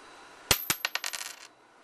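A 1977 copper penny is dropped in a bounce test, striking four distinct times before settling into a quick run of smaller rattling bounces that stop after about a second. Each impact gives a bright, high metallic ring, showing the penny is copper.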